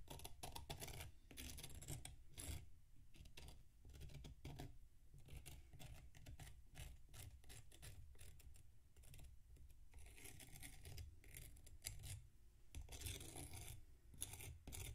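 A metal knife scrapes the side of a solid packed sand mound resting on a plate while the other hand steadies it. Quiet, gritty scraping strokes come in a steady, uneven run, with bright hissy bursts over a constant low rumble, and sand rasps off with each pass.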